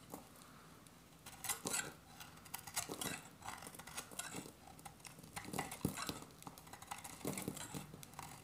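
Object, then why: Soap bar cut with a metal blade. A metal utility-knife blade carves an oval, solid, dry soap bar with its beige interior exposed, making repeated scraping and shaving cuts. Each cut gives a crisp, crackly scrape with bright, gritty texture over a quiet background, in uneven bursts that rise and fall across the clip.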